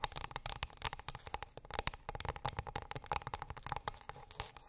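A flat, light, solid wooden plate or board lying on a fluffy rug is tapped and scratched with long pink acrylic nails. A quick, uneven run of many dry clicks and taps is heard, each dying away almost at once, over a soft scratchy rustle with a faint tone around 850 Hz and bright, crisp highs.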